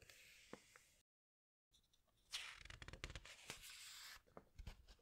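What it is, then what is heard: Glossy paper pages of a hardcover book. Fingertips and long nails press and rub the glossy paper pages of a large hardcover animal book, making soft, bright rubbing hiss with a few light taps. After a brief silence, a page is turned with a loud swishing crinkle, followed by crackly, papery rustling and a few small taps as the page settles.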